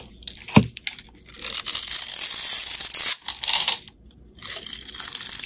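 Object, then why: Bar of soap. A hand-sized rectangular pink bar of solid soap with embossed lettering, held in fingers with painted nails, is carved by metal utility blades that shave off chips. A sharp tap near the start gives way to long, bright, crackling scrapes and cuts that stop briefly around the middle and resume toward the end.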